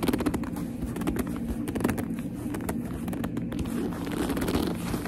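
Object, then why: Leather purse. Long nails grip and rub the shiny surface of a black leather purse, producing a dense run of soft squeaks and scratchy rubbing sounds. The sound is low-to-mid in tone, with short, closely spaced crackles throughout and little brightness.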